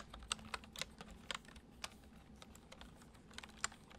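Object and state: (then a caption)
Plastic computer keyboard being typed on. Fingertips type on a full-size white plastic computer keyboard resting on a wooden desk. Quiet, bright, short key clicks come in an uneven run, a few sharper than the rest, over a faint low hum.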